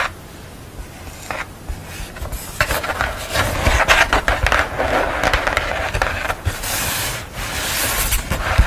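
Long nails scratch and rub across the paint of a purple painted portrait on paper board lying flat. Dry, rasping scrapes rise and fall in irregular strokes, with bright, hissy texture over a soft low rumble. The scratching grows busier and louder toward the middle and end.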